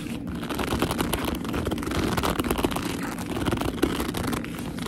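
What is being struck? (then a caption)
Leather handbag. Fingertips with long nails grip and squeeze the top edge of a black leather handbag held upright and hollow. The result is a steady stream of squeaky rubbing and creaking leather with dense crackly texture, occasional sharper squeaks poking out, and no pauses.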